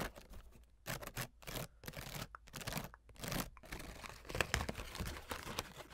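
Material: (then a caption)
Wood, fabric. Long nails scratch and tap the pale wooden ribs of an open folding fan with a blue starry fabric leaf, then fold the leaf. The result is a string of dry, bright scratching and rustling bursts with soft taps. Near the end it becomes a denser crinkling texture.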